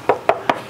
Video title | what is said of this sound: Best Bang for the Buck? // 2021 Toyota 4Runner Trail Edition Review | the muffler is so quiet even when you knock on it